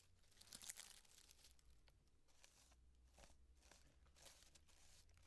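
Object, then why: Cardboard and tissue-paper piñata. Long nails and fingertips scratch and rub a small hollow cardboard llama piñata with a crepe and tissue-paper fringe as it stands on a table. The result is soft, bright crinkling and papery scratching in uneven bursts over a steady low hum.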